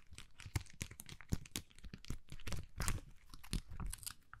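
Long manicured nails scratch across a hand-sized, flexible plastic sticker sheet covered in rows of small purple and white acrylic rhinestones while it is held in both hands and bent now and then. The result is a dense run of short, dry crunching and crinkling scratches with bright clicky edges over a soft low rumble, each burst stopping almost instantly.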